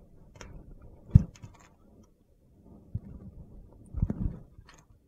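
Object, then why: Soap bar cut with a blade. A metal box-cutter blade slices chunks off a solid mint-green bar of soap held in the hand. It makes soft, dull, low cuts and crunches with quiet scraping between them, the sharpest cut coming about a second in and another cluster near the four-second mark.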